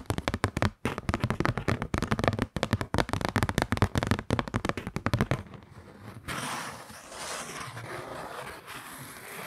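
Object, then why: Kraft paper card. A kraft-paper Christmas card is held upright in both hands close to the mic while fingernails tap and scratch it. For about five seconds, dense rapid crackling taps come through with a strong low thump. A softer, brighter scraping hiss follows for the rest of the clip.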